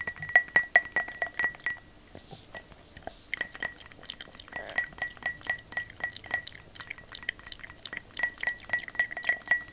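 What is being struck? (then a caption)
Glass object tapped with long artificial fingernails. Long fake witch fingernails tap on a glass object, making a rapid series of bright clinks with a clear ringing tone near 2 kHz. The taps come in fast bursts, pause briefly around the two-to-three-second mark, then resume just as quickly until the end.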